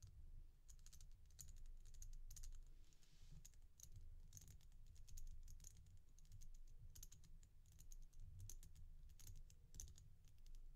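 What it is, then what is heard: Resin bead bracelet. A glossy red-and-black resin bead stretch bracelet is held and turned in the hand while long nails tap and scratch across the beads. Quick, crisp clicks and bright scratchy ticks come in busy bursts over a steady low rumble.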